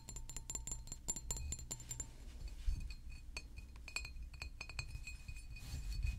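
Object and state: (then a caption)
Glass bottle. A hollow green glass San Pellegrino bottle, about 750 ml, is held in the hands and tapped with fingertips and nails. Rapid, short, bright clinks carry a faint ringing tone, dense for the first two seconds and then more scattered. A soft low rumble sits underneath throughout.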